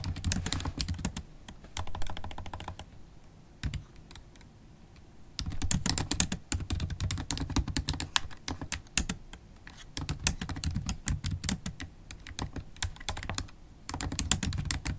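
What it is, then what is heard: Laptop keyboard with plastic keys. Long black holographic acrylic nails type continuously on a MacBook Pro keyboard with black plastic keys set in an aluminium laptop body. Rapid bursts of sharp, bright clacks over a soft low thump, with short pauses between the runs.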